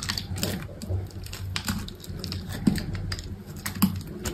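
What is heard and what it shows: A solid green bar of soap is held in the hand while a utility knife shaves and slices along its edge, letting thin flakes fall away. Short, crisp scraping cuts repeat at an irregular pace, each with a bright edge and a quick fade, over a low steady background hum.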